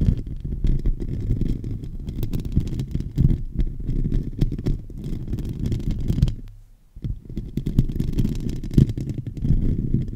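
A silver microphone's hollow metal mesh grille is scratched with the fingertips and short nails of both hands. This produces a dense, continuous low rumbling and scraping concentrated in the bass, with almost no high content. The scratching fades briefly near the middle, then resumes just as strongly to the end.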